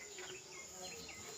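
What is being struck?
Nothing is struck.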